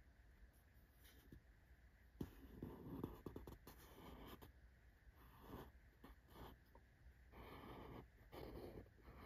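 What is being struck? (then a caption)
Corrugated cardboard box. A fingertip and nail scratch and tap over the logo on the top surface of a small, closed corrugated cardboard shipping box held up in the air. Quiet, dry scratching comes in uneven bursts, broken by a few sharper soft taps. Each sound dies away almost at once over a low background hum.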